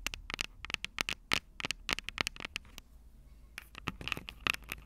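Long purple nails tap and scratch the metal microphone capsules of an upright Tascam DR-05 recorder. The result is a rapid series of sharp, bright clicks and ticks with scratchy edges. A brief quieter gap in the middle leads into a second burst of tapping.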